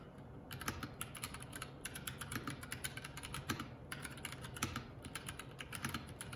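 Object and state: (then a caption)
Plastic mechanical keyboard being typed on. Fingertips of both hands type continuously on a Keycool K84 75% mechanical keyboard with plastic keycaps. A steady stream of quick, bright clacking keystrokes sits over a low, constant hum, with short decays between presses.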